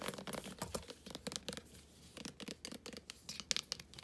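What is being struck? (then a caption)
Plastic body wash squeeze tube. Long nails scratch and tap quickly on a full, medium plastic squeeze tube of body wash in metallic gold and white, held in the hands and then laid on a blanket. The result is a quiet run of fast, crisp, bright scratches and taps that stop short with no ring.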